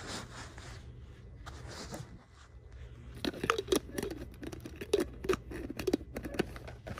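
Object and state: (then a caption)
Empty plastic water bottle. Long nails scratch and tap the body of a held, empty clear purple plastic water bottle with a printed design. Soft, hollow scratching in the first few seconds gives way to a quicker run of sharper, louder plastic taps and clicks, each dying away almost at once.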